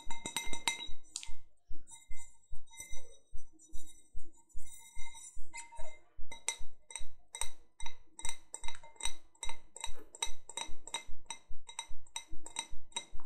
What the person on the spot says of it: 02:51 Tapping my sugar skull wine glass